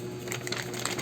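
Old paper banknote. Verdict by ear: Real.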